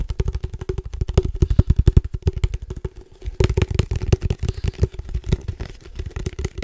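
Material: Plastic.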